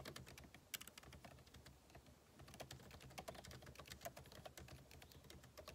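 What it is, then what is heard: Laptop keyboard being typed on. Fingertips type rapidly on the plastic keycaps of a backlit MacBook Pro keyboard set in an aluminum body. A quiet, steady stream of short, bright key clicks runs throughout, with a few louder taps standing out and each click dying away almost at once.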